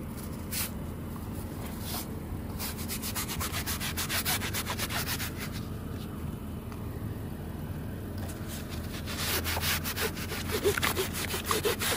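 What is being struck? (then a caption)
Woven fabric rug scrubbed with a stiff brush. A hand scrubs and scrapes the ribbed backing and fringe on the back side of a muddy woven area rug lying flat outdoors, using a wooden-handled stiff brush. Brisk, irregular bristle strokes make a raspy, bright scratching that grows busier and louder toward the end, over a steady low hum.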